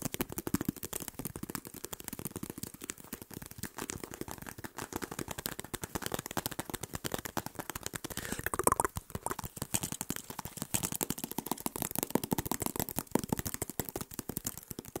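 A hand-sized clear plastic jar full of small green items is held by the lid, shaken, and tapped with fingertips close to the mic. It makes a dense, fast, uneven rattle of short, dry clicks and crackles across low and bright ranges. The sound holds a steady level for the whole stretch, with a slightly louder burst just before the middle.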